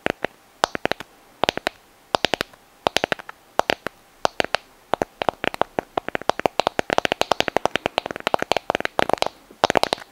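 Long nails tap and scratch a white, palm-sized sand dollar test, a hollow calcareous shell held in both hands. Dozens of sharp, dry clicks come in irregular clusters against a quiet background, each one brief and bright with almost no ring. The tapping grows busier and denser toward the end.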